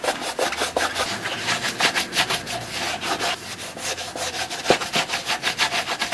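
A black leather work boot held in the hand has its upper wiped and rubbed with a white cloth wrapped on gloved fingers. Quick, repeated dry scrubbing strokes give a bright, hissy rasping with little low end.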